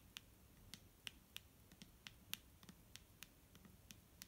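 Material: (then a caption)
Plastic. A clear plastic micellar water bottle filled with liquid is tapped with fingertips and nails, giving about fourteen sharp, bright clicks at an irregular pace. Each tap is very short with almost no ring, and it sits over a faint low background hum.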